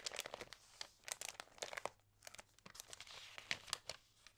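Fingertips rub and turn the glossy pages of an Allerhande paper magazine, crinkling them. A rapid run of short, dry, bright crackles and rustles comes in quick bursts, with a quieter lull near the middle and almost no low end.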